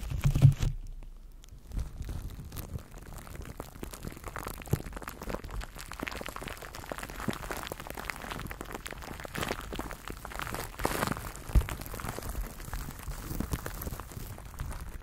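Clear plastic cling film is wrapped around a microphone while both hands cup it and fingertips rub and crinkle the film. A steady stream of close, dense crinkling and crackling is heard, heavy and muffled in the low end, with a few sharper pops standing out.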